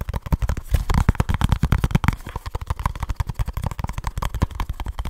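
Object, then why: Small cardboard box. A small kraft cardboard product box held in both hands is tapped rapidly with fingertips and scratched with fingernails. The result is a fast, continuous run of short, dry, low thumps, with faint scratchy crackle over them and almost no ring after each tap.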